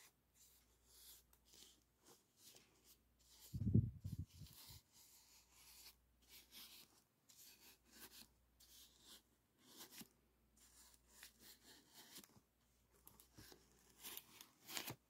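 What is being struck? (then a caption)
Aluminum foil flexible duct. A small brush rubs and scratches the crinkled surface of a hollow, ribbed aluminum foil flexible duct on a ventilation hood. Quiet, bright, scratchy strokes come in short bursts, with a louder low thump about four seconds in.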